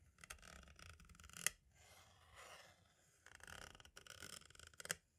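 A green-and-black striped tool taps along the edge of a hollow plastic compact cassette shell and then traces over its label. Bursts of bright scratchy scraping come with a few sharp clicks, the loudest near the middle and at the end, and there are quieter swishing passes between them.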